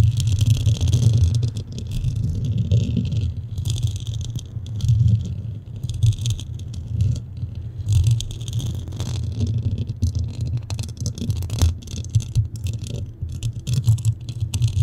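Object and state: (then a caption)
Metal microphone grille being scratched. Fingernails and fingertips of hands cupping a black metal mesh microphone head scratch and rub across its grille. This produces a continuous deep, boomy rumble with bursts of bright, hissy scraping and rustling that rise and fall throughout.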